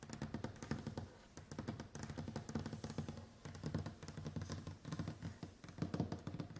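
Long white acrylic nails tap quickly on a large, solid, varnished wooden tabletop in a typing-like pattern. The result is dense, rapid, dull knocks with a low, woody body and very short decay, coming in bursts separated by brief pauses.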